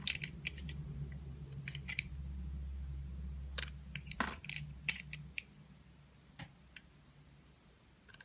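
A green-handled utility knife blade slices and shaves thin curls off a solid, hand-sized, translucent orange glycerin soap bar held in the fingers. Short, crisp, bright clicks and scraping snaps come at an irregular pace over a steady low hum. The hum drops away after about five and a half seconds, leaving a few sparse clicks near the end.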